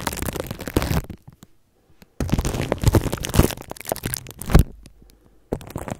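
Toothbrush bristles scratch and brush across clear plastic cling film wrapped around a microphone. Close, low-heavy crinkling and crackling comes in dense bursts, broken by a quiet gap near the start and a shorter pause before the last burst.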